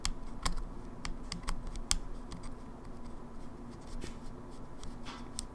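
A closed, small silver plastic GameBoy Advance SP with a hollow casing is held in hand and tapped fast with long fingernails on the top lid and hinge side. A rapid series of short, dry clicks and taps with bright high ticks rise over a low, dull body, each dying away almost instantly.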